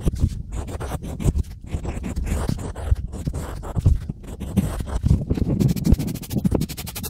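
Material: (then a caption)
Unfired clay. A pointed stylus scratches letters into a small, flat, solid slab of grey-painted unfired pottery clay, making a dense run of short, gritty scraping strokes with a low, dull body and quick, dry attacks. Near the end, a sponge brushes the crumbs away with a steadier, softer swishing texture.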